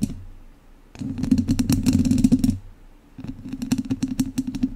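The tips of two wooden chopsticks scratch directly on the hollow, dome-shaped metal wire-mesh grille of a large studio microphone, with no cover over it. Two bursts of rapid, irregular scratching and clicking are heard, separated by a short pause, with bright crackly transients over a steady low humming resonance.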